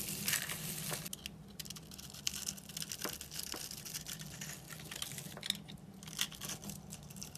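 A utility knife blade scrapes a dry, solid black-and-white striped bar of soap scored into a grid until it crumbles. Bright, crisp crackling and crunching scrapes come in quick bursts over a faint steady low hum.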